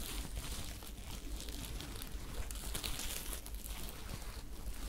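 Long acrylic nails scratch and crinkle a small, soft, empty sparkly top of glittery sequined or rhinestone fabric, held bunched in the hands in front of the microphones. The result is a steady, quiet stream of bright crinkly scratching over a low rumble, with no clear pauses between strokes.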